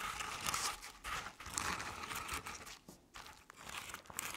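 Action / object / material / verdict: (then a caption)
scrape / decorative pumpkin covered in crinkled paper / paper / none. Long painted nails scratch the sides of a medium artificial jack-o'-lantern covered in crinkled orange paper. The result is a dry, crinkling, papery rasp with bright, hissy texture. It comes in irregular strokes that swell and fade with no ring after each one.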